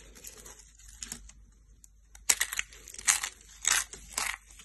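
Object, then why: Soap flakes crushed by hand. Yellow dry soap shavings, brittle solid flakes, are squeezed and crushed in hands with painted nails. Soft, crackly rustling in the first two seconds gives way to louder, sharp, bright crunching bursts that crackle and snap as the flakes break apart.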